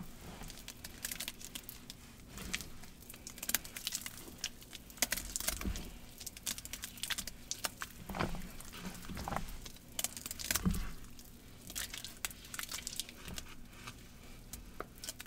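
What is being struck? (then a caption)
Cornstarch and gym chalk paste in a plastic bowl. Hands squeeze a smooth green paste of wet cornstarch and gym chalk in a large plastic bowl and pull their fingers through it as it coats them. The squeezing makes a steady run of sharp, bright, sticky clicks and crackles over soft squelches and low, muffled thumps, each sound dying away almost at once.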